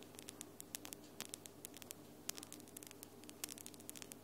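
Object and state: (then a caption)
Acrylic nails tapped together. Long glitter acrylic nails tap against each other, nail on nail, making a quick, uneven run of about twenty sharp, bright clicks. Each click stops almost instantly over a faint steady hum.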